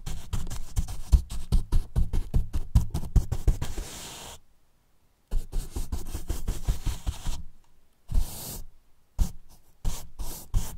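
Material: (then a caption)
Polyethylene foam. Two fluffy make-up brushes brush and rub the top and sides of a large, hollow, white polyethylene foam box with a microphone hidden inside. The result is a rapid, uneven run of soft, boomy scratching strokes, mostly deep and muffled. Brief silent pauses break it up, and it ends with short separate bursts of rubbing.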